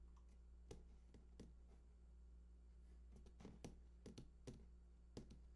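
Fingertips tap the bottom edge of a large, hollow cardboard PS4 console box lying on its side. The taps are soft, dull and very short, coming in an irregular pattern over a steady low hum, with the sound mostly in the low range and almost no ring after each tap.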